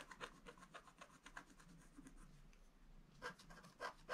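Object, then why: Wax-coated scratch art paper scratched with a wooden stylus. A wooden stylus scratches a flat black sheet of wax-coated scratch art paper lying near gift boxes. The result is a quiet run of short, dry scraping strokes at an uneven pace, with a bright, raspy edge centered around 1 kHz. A few louder strokes come toward the end.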